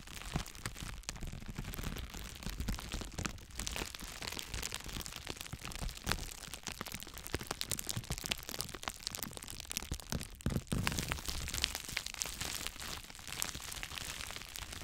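Two clear plastic bubble wrap bundles are pressed together and crinkled by the fingers in front of the microphone. The result is a dense, steady stream of sharp crackles and crunchy crinkling, with bright, quick snaps over a low, handling rumble. The sound runs continuously for the whole clip.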